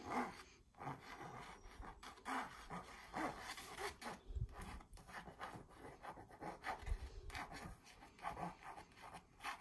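A long nail taps and scratches across the smooth printed surface of a small stretched canvas print reading "But First Coffee," hanging on a wall with a hollow frame. Soft, irregular taps with dull, hollow low thumps mix with quiet, raspy scratching and rubbing throughout.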